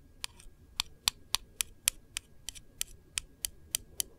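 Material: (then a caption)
Metal. Long nails tap and trace across a small, round, white and gold printed metal candle tin lid on a hollow container. Thirteen short, bright clicks land at an uneven pace, each dying away almost instantly, with faint scratchy tracing between them over a quiet low background.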